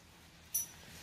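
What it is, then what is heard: Fake silver coin, silver-plated copper. A silver dollar coin, judged fake as silver-plated copper, is tapped once and gives a short, bright, high-pitched ring that fades within about a tenth of a second into a faint hum. The ring points to a copper core with a silver-plated exterior rather than solid silver, as judged by ear and by eye without a lab test.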